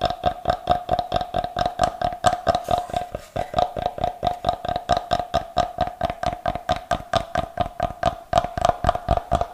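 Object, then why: Block of unfinished light wood. Fingernails tap and scratch the face of a solid block of unfinished light wood held close to the microphone, giving a fast run of about 45 short, dry taps at a loose, uneven pace. Each tap has a hollow, woody knock around 690 Hz with a faint bright click and dies away almost instantly. A soft scratchy stretch near the three-second mark briefly breaks up the tapping.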